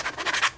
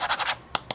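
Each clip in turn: First: vinyl phone skin on its own. Second: plastic phone back under a vinyl skin.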